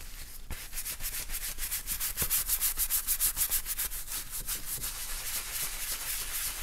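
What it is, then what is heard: Leather wallet being brushed. A gloved hand holds an open black leather bifold wallet while a wooden-handled bristle brush scrubs its inside surface. Quick, repeated brushing strokes make a bright, hissy scratching sound over a low rumble, swelling in the middle and staying steady to the end.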